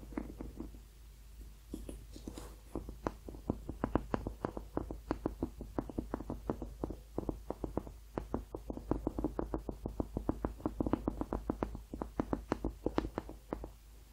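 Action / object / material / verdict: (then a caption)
tap / rubber hot water bottle / rubber / none. Painted fingernails tap and scratch across a hollow blue rubber hot water bottle with a ribbed and crosshatched surface. A quick, uneven run of dull, hollow taps with a low-mid body dies away almost instantly, with faint scratchy brushing between them. A steady low hum sits underneath throughout.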